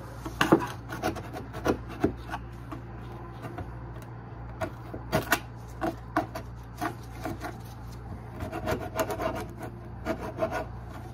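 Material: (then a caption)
Particleboard. A gloved hand scrapes a thin metal scraper blade along the edge of a solid particleboard countertop at the sink opening to remove old caulk residue. Short, rasping scrapes come in irregular bursts over a steady low hum, with a cluster of strokes near the start, a quieter stretch in the middle, and more strokes toward the end.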